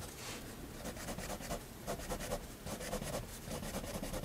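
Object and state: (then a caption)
Pen drawing on a paper sketchbook page. A fineliner pen draws slow, steady strokes across a flat white sketchbook page, its nib rubbing against the paper. Soft, quiet scratching comes in repeated bright bursts of stroke noise over a faint low rumble, with each stroke fading quickly.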